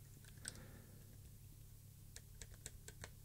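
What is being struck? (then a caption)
Plastic keycaps on mechanical keyboard switches. Fingertips press the white plastic keycaps of a mechanical keyboard switch tester one after another while the other hand rests on its top edge. Sharp, bright clicks stand out: one early, then a quick run near the end. Each dies away almost instantly over a quiet, steady low hum.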